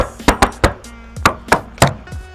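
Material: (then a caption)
Sheet steel. Six quick knocks on a silver car's steel body panel produce short, hollow, tinny taps that die away almost at once. The thin sheet metal sounds even from knock to knock, which shows an original panel with no filler underneath.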